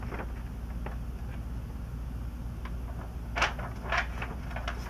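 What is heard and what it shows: Hands hold the edges of an open glossy-paper magazine, the last Sports Illustrated issue of 2002, turn a page, then lay their fingertips flat and rub them across the spread. Soft, irregular papery rustles and crinkles sit over a steady low hum, with two louder, brighter swishes near the end as the page moves.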